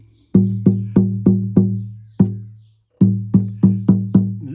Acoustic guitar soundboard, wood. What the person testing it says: luthier's dream of getting soundboards to sound like this, to ring like that. It's absolutely beautiful